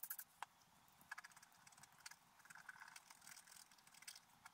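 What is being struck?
Black-coated scratch art paper scratched with a wooden stylus.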